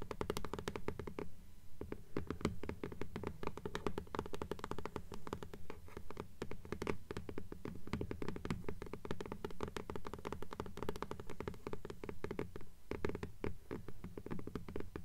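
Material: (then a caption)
Paper, cardboard. Long nails tap and scratch rapidly on the paper dust jacket of a blue hardcover "Fairies" book held upright. A dense, steady stream of short, dry taps with muffled low thuds and crisp scratchy clicks continues for about 15 seconds, with no talking.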